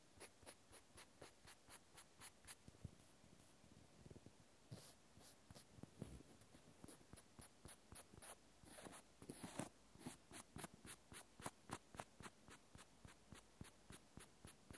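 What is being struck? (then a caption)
Cork wine stopper rubbed with a cotton swab. A small solid cork wine stopper, held in the fingers, is scratched and rubbed with a cotton swab. The result is a quiet, steady run of short, dry scratching strokes with soft, brief rustling bursts that fade almost instantly.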